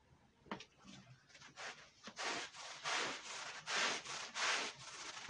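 A long-handled push brush scrubs a red woven wool Persian rug covered in white powder. Dry, hissy bristle strokes rasp back and forth in an uneven rhythm, each bright swish rising and fading. The strokes start soft and grow louder and fuller partway through.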